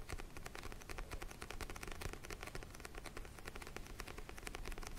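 Fingernails tap quickly on the glossy orange cover of a small paperback book held near the microphone. The result is a fast, steady stream of dry, crisp clicks that stop almost at once, with soft low thumps under bright ticking.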